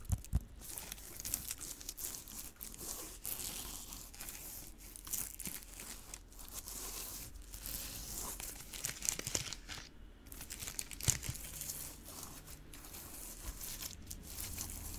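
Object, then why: Pineapple rind and leaves. A large whole pineapple with a spiky rind and green leafy crown is held in one hand close to the microphone while fingertips and nails scratch and rub its textured rind and leaves. The result is a steady stream of dry, crinkly scratching and rustling with bright, hissy detail and a soft low rumble underneath. Occasional sharper scrapes stand out.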